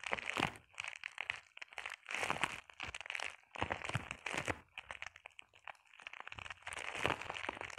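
Long painted nails scratch and tap across a flat sheet of clear plastic bubble wrap. The result is bursts of dry, bright crinkling and crackling with short pauses between them, each tap dying away almost instantly.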